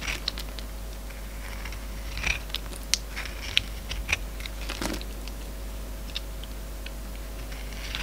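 A steel utility-knife blade shaves slices off a solid, hand-sized oval soap bar with a silver glitter coat and an orange core, held in the palm. Quiet, dry scraping and crisp crunching clicks come at an irregular pace. A few sharp, bright snaps stand out over a steady low hum.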